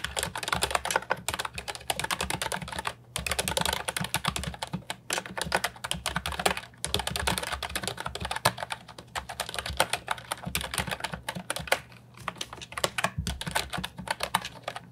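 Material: Plastic.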